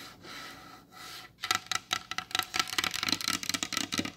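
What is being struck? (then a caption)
Varnished wooden tabletop. Long blue acrylic nails scratch and rub across the glossy varnished top of a large solid wooden table. Soft, breathy rubbing swells come first, then a fast, uneven run of sharp, bright clicking taps and scrapes with almost no ring.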